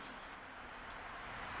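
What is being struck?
Nothing is struck.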